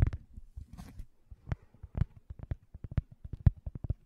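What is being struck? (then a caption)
Thin cork coaster. Fingertips tap and scratch a thin, solid, round cork coaster held upright at the side of the microphone. A string of soft, dull, low-pitched taps comes in irregular bursts, with a brief faint scratchy rustle near the start. Each tap dies away almost instantly with no ring.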